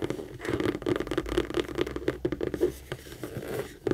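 Long acrylic nails rapidly tap and scratch the panels and handle area of a medium pink Kate Spade structured saffiano leather handbag, which is hollow and held up and turned. The result is a quick run of short, dry, muted taps with a mid-range hollow knock, mixed with soft scratchy rasps and little deep or bright content.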